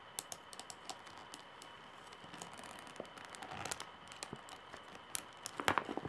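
Long nails tap on the solid wooden handle of a straw bag held up. Soft, dry, clicky taps come in an irregular patter over a quiet steady hiss, each dying away almost instantly. The tapping grows busier and a little louder toward the end.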